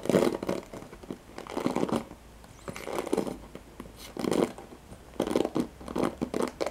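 Fingertips and nails scratch the nylon pin bristles of a handheld black plastic paddle hairbrush held close up. The sound comes in repeated bursts of dry, crackling scratches, with a papery, crinkling rasp in the low mids and a bright hiss on top, separated by short quiet gaps.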